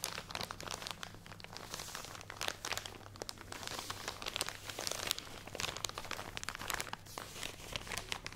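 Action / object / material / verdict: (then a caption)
scrape / plastic bag of cotton pads / plastic / none. A full plastic package of cotton pads is crinkled and scratched with fingernails, making a dense run of bright, crackling crinkles and quick scratchy ticks across the whole clip. A steady low hum sits underneath.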